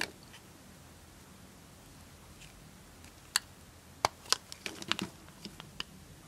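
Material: Soap.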